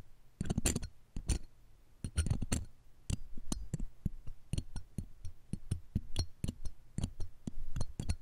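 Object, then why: Metal mesh microphone grille touched with a thin wire hook. A thin metal wire hook lightly scratches and taps the round metal mesh grille of the left one of two bare pencil condenser microphones. It makes a rapid, irregular series of sharp, dry clicks and scrapes with a low, thumpy body. Each touch dies away almost instantly.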